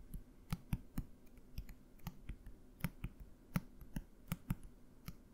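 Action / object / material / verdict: tap / plastic bottle / plastic / none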